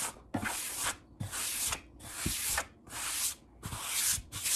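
Fingertips scratch and rub, and palms rub, across a large solid wood-grain tabletop in repeated back-and-forth strokes. Each stroke is a bright, hissy burst of friction noise with a soft low thump where it starts, separated by short quiet gaps.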